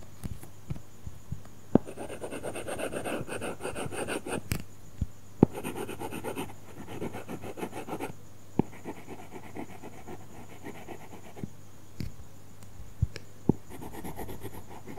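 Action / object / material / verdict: scrape / tablet glass screen with matte plastic film, stylus / plastic film / none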